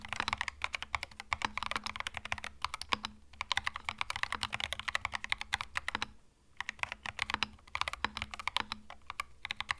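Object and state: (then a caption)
Mechanical keyboard with plastic keycaps. Fingertips type steadily on a compact cream mechanical keyboard with plastic keycaps, making a dense run of short, bright, crisp clicks over a faint low hum. The typing pauses briefly near the six-second mark, then resumes at the same pace.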